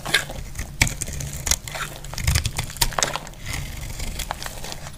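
A metal blade cuts chunks from a solid, dry lavender soap bar held in the hand. Crisp, crumbly crunches and sharp clicks break up a steady low hum.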